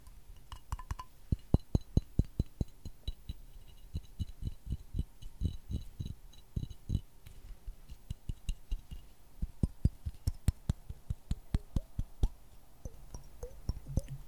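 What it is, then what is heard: Glass jar. A small, empty, clear glass jar with a dark ribbed lid is held in one hand and tapped close to the microphone with the fingertips and nails of the other hand. Dozens of quick, dull, low taps follow in an uneven rhythm, each dying almost instantly, with faint bright clinks mixed in. The overall sound stays soft and muted.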